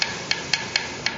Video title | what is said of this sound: Parker Fly Guitar FRET Repair | the notes changing in in tone but it's still kind of bright